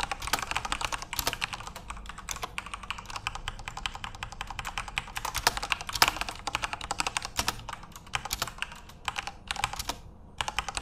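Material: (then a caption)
Plastic. Fingertips type steadily on a full-size RGB-backlit Corsair mechanical keyboard with plastic keycaps, producing a rapid stream of short, bright, clicky keystrokes. A few louder key strikes stand out, and brief pauses break the typing near the end.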